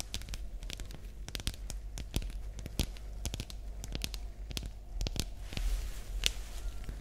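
A hollow, light green, glossy rectangular plastic pencil case is held in the hands and tapped and scratched with long nails. Many quick, sharp, bright clicks and crinkly scratches come in an irregular stream over a steady low background rumble, each tap dying away almost at once.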